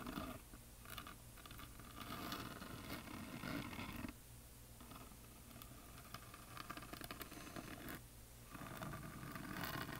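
Long nails scratch and tap along the top edge and painted face of a solid wooden heart plaque coated in glitter paint. The result is a dense, dry rasping texture with quick soft taps over a steady low hum, easing off briefly around the fourth and eighth seconds before resuming.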